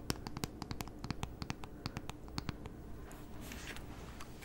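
Long fingernails tap and scratch the edge and outside of a tablet in a grey synthetic keyboard folio case held upright. A quick, uneven run of sharp, bright clicks with very short ring sits over a low background rumble, then gives way to a softer, hissy scratching near the end.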